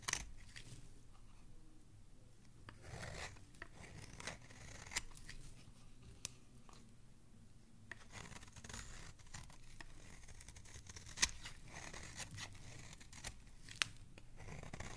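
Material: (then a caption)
Soap. A palm-sized, solid green oval soap bar is held in one hand, its smooth carved face turned and then scraped with a metal blade, shaving off curls of soap. Quiet, dry scratching and rasping strokes run throughout, broken by occasional sharp, bright clicks, over a faint low rumble.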